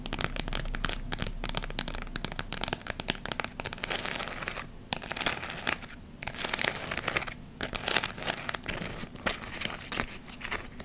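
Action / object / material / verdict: scrape / glittered artificial leaf ornament / glittered fabric / none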